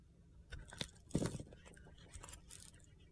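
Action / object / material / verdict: scrape / bar of soap with glittery coating / soap / none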